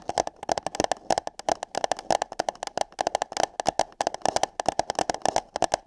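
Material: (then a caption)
Paper. Fingertips and long nails tap and scratch hollow light-blue paper cups placed over the microphone's ears. Dozens of quick, dry taps land in an uneven rhythm, each with a hollow tone around 700 Hz, a bright clicky edge and almost no ring.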